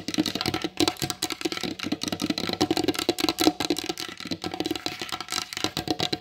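Long blue acrylic nails tap rapidly on the glossy varnished top of a large solid wooden table. The result is a dense run of short, dry clicks with a hollow knock around 300 Hz and bright clicky edges, each tap dying away almost instantly.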